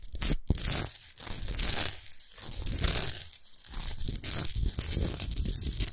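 Long nails scratch quickly over the faceted surface of a tall, orange-pink, rough-hewn Himalayan salt lamp, a large solid chunk of rock salt. The result is a dense, bright, gritty rasping with a crunchy, tearing texture. It runs almost continuously in uneven bursts, with only brief dips between strokes and a low rumble underneath.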